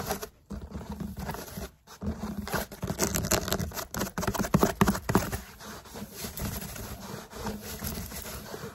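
Fingertips and short nails tap and rub quickly across the curved outer layer of a large grey foam yoga mat rolled into a hollow cylinder and held upright. Dense, irregular patters and scratchy scrapes carry a dull, hollow low thump with a faint bright hiss. The tapping swells louder near the middle, then settles into a softer, steady rubbing.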